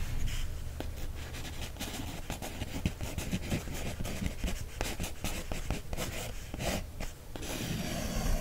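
A wooden stick traces and scratches across the line drawing on an open page of a paper coloring book. It makes a steady, dry, scratchy rasp with short bright scrapes over a low, soft rubbing body, and the strokes run together without clear gaps. Near the end the texture turns to a brighter, continuous hiss.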